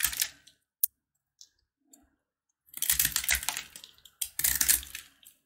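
A box-cutter blade carves and scrapes a hand-held, solid, brittle bar of yellow corn-kernel jaggery candy. A few sharp, isolated clicks and ticks give way to two longer bursts of dense, bright crackling and scraping, with a faint low thud beneath the crunch.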